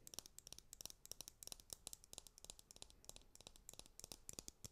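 A white plastic hairbrush with a printed back and hollow handle is tapped on its back while its bristles are scratched with long nails. About thirty quick, dry clicks and scratches sound in close succession, each bright and crisp with almost no ring, over a faint low hum.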